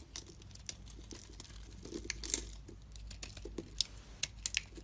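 A metal utility blade shaves chunks and powder off a solid white bar of soap held in the palm. Quiet, bright scraping and crisp cutting scratches come in short, dry bursts, with a few sharper crackling snaps toward the end.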